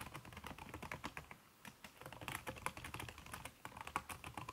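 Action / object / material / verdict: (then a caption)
tap / laptop keyboard with silicone cover / plastic / none. Fast typing with fingertips and long red-painted nails on a backlit aluminium laptop keyboard whose plastic keys are covered by a red silicone skin. A rapid, dense run of soft, short clicks and taps with a muted, damped character and a brief pause near the middle.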